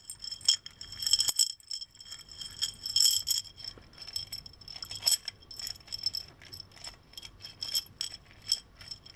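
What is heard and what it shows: Hands tilt and shake a small textured hobnail glass mason jar with a screw-on metal lid and a striped straw, partly filled with small loose silver decorative pieces. The filling slides and rattles against the glass in quick bursts of bright, high clinks and jingles that die away almost instantly.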